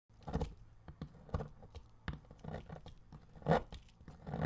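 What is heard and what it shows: A metal blade shaves thin strips from the edge of a solid, dark bronze-colored bar of soap embossed "DURU", held by fingertips. The sound is a run of uneven, dry scraping and cutting strokes, mostly low and muffled, with brief louder rasps between softer crumbly scratches.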